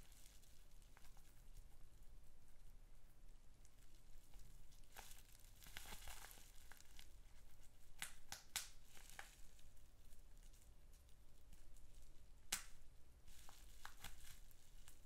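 A crumpled sheet of green polyethylene bubble wrap with small air bubbles is held in both hands while fingertips and short nails squeeze and pop the bubbles. A steady, quiet crinkling rustle runs throughout, broken by sharp, bright pops and snaps that die away almost instantly.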